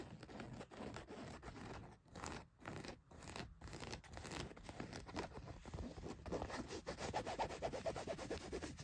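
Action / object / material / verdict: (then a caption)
scrape / denim jeans / denim / none. Long white nails scratch the back pocket and leg of blue denim jeans laid flat. The result is a steady run of dry, rough rasping strokes, quiet and irregular in rhythm, with brief pauses early on and a denser, brighter scratching texture toward the end.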